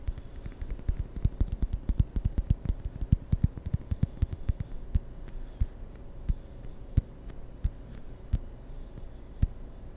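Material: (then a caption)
Plastic. Fingertips roll and tap a small white hollow plastic ping pong ball close to the mic. Quick, dry little taps come in a dense, rapid flurry for the first five seconds, then thin out to spaced single clicks, each a soft low thump with a bright click on top that dies away almost instantly.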